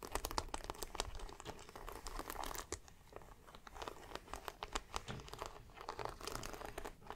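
Fingertips and long black-painted nails tap and scratch across a panel of brass and silver dome studs on a large, soft grey suede handbag. Rapid, crisp metallic clicks and taps stand out over a soft, crinkly scratching rustle, heard quietly and up close.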